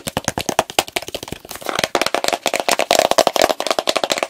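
A medium plastic petroleum jelly jar, full of pale jelly and capped with a blue plastic lid, is tapped fast with fingertips on its lid and sides. About 26 quick, dry, hollow plastic taps come in a rapid, uneven run with almost no ring, centered near 700 Hz with some bright clicky edges, and grow denser and louder toward the middle and end.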